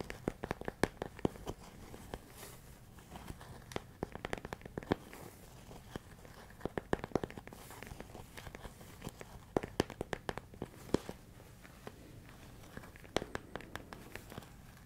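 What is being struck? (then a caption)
Plastic food container filled with rice. A large clear plastic storage container with a lid, full of rice, is held close to the mic while fingernails scratch and tap its side. The result is a quiet stretch of irregular, sharp clicky taps and crinkly scratching that die away almost instantly over a faint low background hiss.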